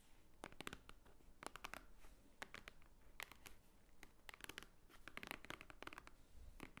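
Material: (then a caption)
Paper. Long nails tap and scratch the top cover of a large, thick, white-edged book lying flat as a solid stack of paper. The result is quiet, dry clicks mixed with bright, papery scratches, each one stopping short without ringing.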